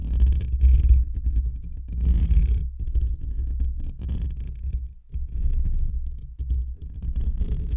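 Short fingernails and fingertips scratch and rub directly on a hollow metal wire-mesh microphone grille. The result is a deep, booming low rumble with steady scraping friction, broken by occasional bursts of brighter, crackly scratching and brief drops into near silence.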